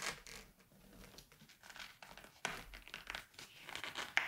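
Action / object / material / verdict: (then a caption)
scrape / glossy paper magazine pages / glossy paper / none. Hands turn and flip the thin glossy pages of a large 1980s Vogue magazine lying open on a white table. The result is soft, bright paper crinkling and rustling with a few sharper flicks as pages swing over.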